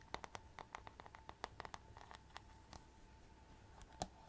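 Long nails tap and scratch a handheld paddle hairbrush, held close to the mic, with a hollow plastic body, a glittery rhinestone-covered back and metal-tipped bristles. A quick, uneven series of sharp, clicky taps rings bright and dies away almost instantly, with soft scratching between them. A faint steady tone hums underneath throughout.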